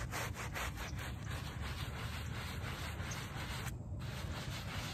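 A small, foamy shag-pile fabric doormat is scrubbed with a small wooden-backed brush. The result is a steady, continuous rubbing and scraping sound with a low rumble underneath and brief bristly strokes on top. The sound stops briefly near the end and then continues.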